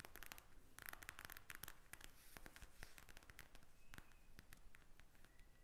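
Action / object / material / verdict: tap / plastic gel-bead eye mask / plastic / none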